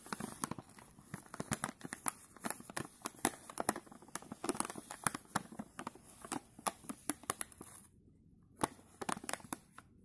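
A filled plastic chip bag, held in gloved hands, is brushed and stroked with a bristle paintbrush, giving a steady run of dry crinkles and sharp crackling ticks over a faint bright hiss. The crackles drop away briefly near the end, then a few more strokes follow.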